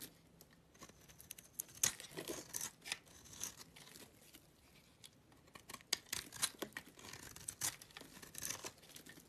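A utility knife blade scrapes curls off the face of a small, solid, oval green soap bar held in the hand. It makes quiet, crisp, bright shaving and scratching sounds in short, irregular strokes with brief pauses between them.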